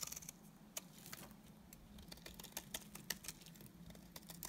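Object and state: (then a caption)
Bar soap scraped with a blade. A utility knife blade scrapes shavings off a solid, dry, cream-colored rectangular bar of soap with stamped lettering. The result is a quick series of crisp, bright scratching clicks that cut off sharply, over a faint steady low hum.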